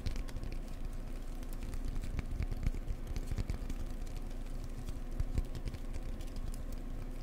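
A cork block is tapped gently up close with the fingers, giving a steady run of soft, dull, low thuds. Each tap dies away almost at once, leaving a quiet, muffled pattering with little brightness.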